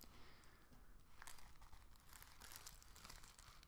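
A thin, empty light-green plastic shopping bag with blue print is crinkled in both hands as it is unfolded. It gives a steady, quiet run of crisp crinkles and rustles with brighter bursts over a low rumble.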